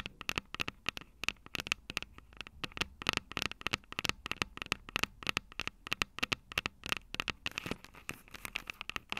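Long purple nails tap and scratch the two silver metal mic capsules on a plastic-bodied Tascam DR-05 handheld recorder. A rapid, irregular run of dry, bright clicks and scratchy ticks, each with a faint tinny ring near 2.7 kHz, sounds close up over a quiet background with almost no low end.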